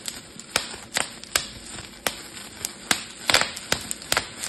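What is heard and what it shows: A clear plastic bubble wrap sheet has its bubbles pinched and popped between fingertips, giving a series of sharp, bright pops at an irregular pace. Each pop is very short and dry over a faint hiss, with a few arriving in a quick cluster near the end.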